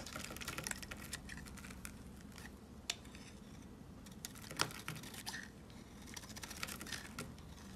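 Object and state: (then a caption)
Soap bar being scraped. A yellow box cutter blade scrapes a rectangular, solid white soap bar with a Hello Kitty face, held in the hand, shaving off powdery flakes. A steady stream of dry, crisp scratching and crackling runs throughout, with a few sharper snaps standing out. The texture is bright and crunchy over a low, faint background hum.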